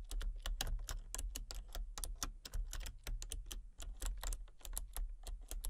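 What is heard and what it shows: Fingertips and long painted nails type rapidly on a full-size backlit plastic RGB computer keyboard with hollow key switches and colour-cycling lights. Quick, sharp, bright clicky taps arrive in an uneven, steady stream over a constant low hum.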